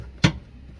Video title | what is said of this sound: XPANDER-HILANGKAN DENGUNG PAIP AIRCOND, TAYAR SPARE,AUTO CERMIN PEMANDU, | bila terhentak kita akan dengar bunyi besi